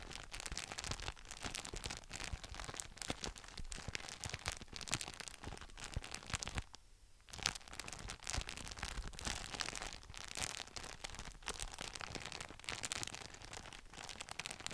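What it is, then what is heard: Plastic document folder being flexed. An empty translucent frosted polypropylene document folder with thin flexible sheets is bent into a curve and flexed by both hands with the fingertips. It gives dense, bright plastic crinkling and crackling throughout, with a brief quiet pause around the middle before the crinkling resumes.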